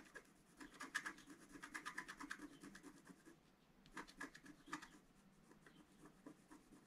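A wooden stylus scrapes a thin, flat coated scratch-art paper sheet resting on a table while the other hand holds the sheet still. Quiet, dry, raspy scratching strokes come in quick bursts, with a brief pause before another run of scraping.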